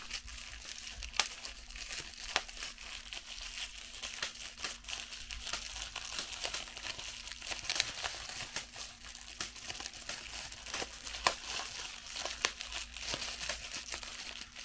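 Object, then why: Plastic bubble wrap. A clear piece of plastic bubble wrap is held and twisted in both hands while fingertips and long nails pop and crinkle the bubbles. Dense, bright crinkling runs throughout, punctuated by sharp, quick pops that stand out above it, over a faint steady low hum.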